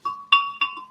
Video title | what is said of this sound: Secrets Revealed! Singapore Laksa - Facebook Live Repeat Telecast Part 2 | do you hear the ting ting sound? It is made of glass. So it's actually very strong.